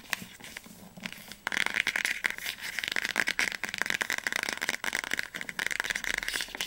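Fingernails tap and scratch the spine and cover of an orange hardcover book as it is turned to different angles. After a quieter start, a rapid, dense run of crisp, bright clicks and scratchy rasps sets in at about 1.5 seconds and continues to the end, each tap dying away almost instantly.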